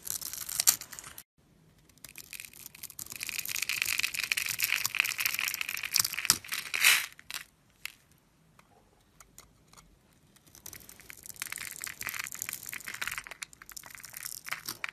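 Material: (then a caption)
Soap. A solid oval bar of dark brown soap, scored in a grid and held in the hand, is carved with a metal blade so small cubes crumble off. Bright, crisp crunching and scraping comes in dense bursts, with a short gap near the start and a longer quiet stretch in the middle before the carving resumes.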